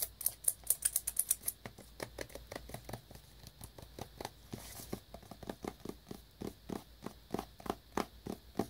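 Fingertips and nails rapidly tap the face and side of a small black cardboard wireless earbuds box wrapped in clear plastic shrink wrap, held up close. About 34 quick, dry clicks land in a steady patter. The first few carry a bright, crisp crinkle from the plastic, and each tap dies away almost instantly.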